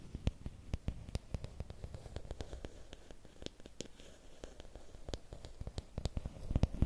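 Fingertips and nails tap and scratch a long, thin, solid bamboo or wooden stick held at an angle. Quick, dry clicks with almost no ring come in an uneven run over a soft, low rustling background. The taps grow denser and louder toward the end.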